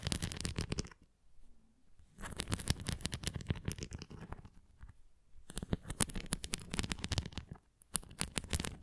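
Long nails scratch the bumps and rim of a tilted red plastic flying disc toy, making bursts of dense, rapid scratchy clicks. Quiet pauses separate the bursts.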